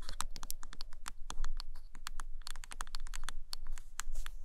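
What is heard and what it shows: Long nails tap and scratch the cover and spine edge of a purple hardcover book turned sideways. The result is a quick, uneven run of sharp, bright clicks with short scratchy strokes over a faint low hum, and each tap dies away almost at once.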